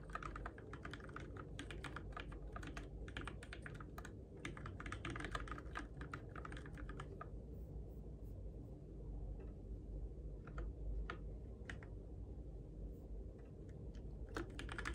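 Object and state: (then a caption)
Plastic mechanical keyboard typing. Fingertips tap the plastic keycaps on the switches of a Keychron K6 compact RGB-backlit mechanical keyboard in the dark. A quick run of clacky keystrokes fills the first seven seconds, then thins to scattered single taps over a steady low hum. Each click is short and bright and dies away almost at once.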